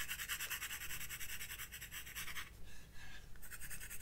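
A graphite pencil held in the fingertips shades and scratches in short strokes across the white drawing paper of a spiral-bound sketchbook lying flat on a wooden desk. Quick, bright, scratchy strokes run densely for the first two and a half seconds, thin out briefly, then pick up again toward the end over a faint steady low rumble.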